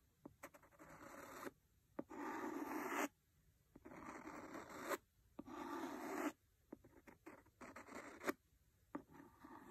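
A solid, large red cloth-covered hardcover book is scratched across its cover with a wooden pencil. Dry, raspy scraping strokes come in bursts of about a second, separated by quiet gaps and short, sharp clicks. Lighter, choppier scratching follows toward the end.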